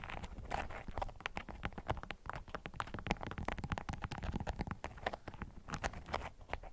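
A bundle of yellow bee-print beeswax-coated cotton food wrap resting on a green mat is scratched and tapped with long acrylic nails. The result is a dense run of quick, dry clicks and crinkly scratches with a low, muffled body and brief bright edges, each hit dying almost at once.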